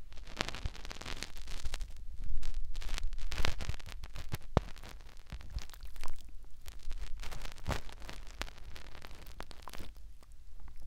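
Fingertips rub and press inside the ear canal of a white, soft silicone ear mounted on a round white binaural microphone housing with a metal ring. The result is a close, muffled rumble of deep thumps and pressure bursts, with scattered crackly, scratchy rustles on top. Louder pushes swell and fade in waves throughout.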